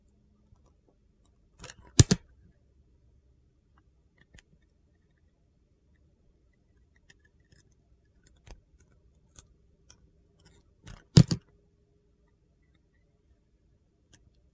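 A metal utility knife blade shaves the surface of a solid teal, palm-sized Dial bar soap held in a hand with red nails, exposing its white core. Two short, crisp scraping bursts stand out, near the 2-second and 11-second marks, separated by faint, sparse ticks and small crackles in an otherwise quiet stretch.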